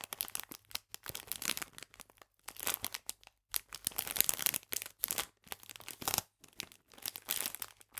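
A clear plastic bag full of biscuits is squeezed and rotated in the hands, giving bright, high crinkling in quick irregular bursts separated by brief silences. The sound is soft, crackly and almost entirely high-pitched, with very little low end and no ringing after each crackle.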